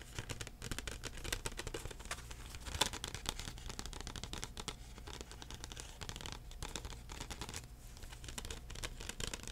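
A thin plastic CD case with a printed cover is held in both hands and tapped and scratched with the fingertips. Quiet, dense, rapid taps mix with bright, crinkly scratching and soft low thumps, with one sharper tap standing out near the three-second mark. Each sound dies away almost instantly, leaving a steady, close-up clatter.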